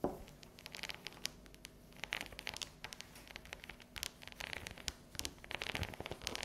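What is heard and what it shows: Long yellow nails tap and scratch the ridged squares of a solid, unwrapped dark chocolate bar resting on a table. The result is a quiet, rapid series of sharp, bright clicks mixed with dry, crinkly scratching, each tap dying away almost at once.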